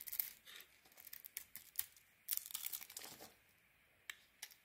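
A metal blade carves a solid white soap bar with a grey rim, sending chunks and flakes piling up below. Crisp, bright scraping and crackling cuts come in short bursts, then a longer rasping shave and a brief quiet before a few sharp final cuts.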